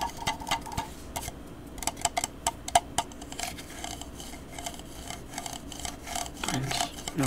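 A small hollow orange glazed jack-o'-lantern, apparently ceramic, with carved face openings and a stem, is held in one hand and tapped with the fingertips and nails of the other hand. Quick, light, bright clicks and taps come in uneven bursts, each with a short hollow ring around 700 Hz. Toward the end the tapping turns denser and more rustling.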